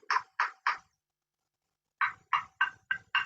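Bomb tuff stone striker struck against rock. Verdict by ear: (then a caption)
Ringing. A piece of bomb tuff found in a niche under a boulder is used as a striker against the rock, giving eight sharp, ringing strikes: three quick hits, a pause, then five more. Each strike has a bright tone centred near 1 kHz that dies away quickly. Here it is the striker, not the large boulder, that rings.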